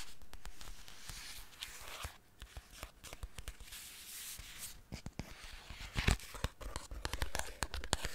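Fingertips and nails crinkle, scratch and handle a small, apparently filled paper pouch with a foil lining. It makes a steady, bright crinkling rustle broken by sharp, short ticks and soft low bumps, with a louder burst of crackling near the end.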